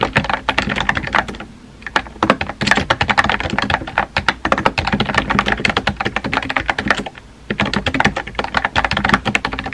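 Fingertips with painted nails type rapidly on a compact pink plastic mechanical keyboard with a hollow body and round white-and-pink typewriter-style keycaps, resting on a desk. Dense, clacky key taps with a hollow, mid-bright tone and very short decay come in bursts, with brief pauses around 1.7 and 7.2 seconds.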